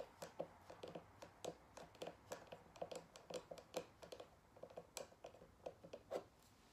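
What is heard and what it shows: Long nails tap and scratch a single square cork-backed photo coaster, first held on its edge and then held flat with the cork side up. A steady run of quick, dry taps sounds with a low-mid knock and bright clicking tops, mixed with faint scratching, and each tap dies away almost instantly.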